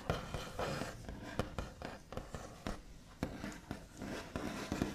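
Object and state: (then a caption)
Wooden tabletop, solid. The backs of long nails tap and scratch across a solid, flat white-finished wooden tabletop in a quiet indoor space. About twelve short, dry taps with a low thump land between soft scratchy strokes, and each dies away almost instantly with no ring.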